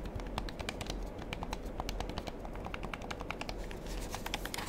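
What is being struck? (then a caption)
Plastic game controller buttons. A black plastic gamepad held in one or both hands has its buttons and triggers clicked rapidly with fingertips. Dense, quick, bright plastic clicks run throughout over a steady low rumble, each click short and dry.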